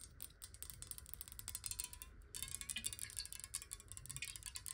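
Long nails tap rapidly on a clear square glass bottle held sideways and partly filled with water. The taps are quick, bright and clicky, with high, chime-like ticks that die away almost at once over a faint low rumble. The tapping grows louder and denser about halfway through.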